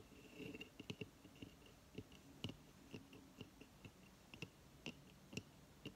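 Long fingernails scratch the fibrous surface of a hollow coconut shell hamster hideout, which has an opening, paper bedding inside, and sits on a coconut-shell stand on a table. Quiet, dry scratches and short clicky taps with a hollow low body repeat over a soft hiss, with a faint steady tone near 2.7 kHz underneath.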